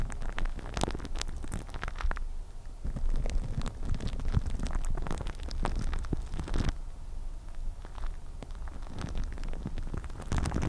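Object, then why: Plastic cling film wrapped on a microphone head. Long nails rapidly scratch and tap on clear plastic cling film wrapped over a microphone head. The result is a dense, continuous crinkling and crackling full of sharp little clicks, heavy with low, muffled rumble and little brightness. It stays at a steady level for the whole clip.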